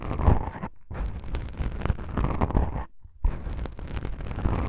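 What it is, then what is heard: Foam microphone windscreen being scratched. Long pink nails and fingertips of both hands scratch black foam microphone windscreens, producing a dense, low, rumbling scrape with soft rustling texture. The scratching runs in bursts, with two brief pauses near one second and three seconds.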